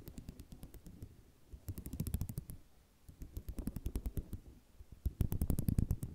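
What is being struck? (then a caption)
Ceramic mosaic tile sheet on cloth backing. Fingernails drag across the rows of a flat sheet of small white square ceramic mosaic tiles resting on cloth, scratching and rattling them. The result is a rapid, uneven train of dry clicks and ticks in several bursts, with short quieter gaps between, growing loudest and densest near the end.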